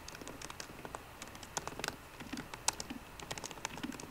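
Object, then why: Laptop keyboard with plastic keys in an aluminum body. Fingertips of both hands type on a 13-inch MacBook Pro keyboard with plastic keys in an aluminum body, and the right hand moves toward the trackpad at the end. A steady, uneven patter of quick, light, bright key clicks sounds throughout, each tap short and dry with a few sharper, louder strikes standing out.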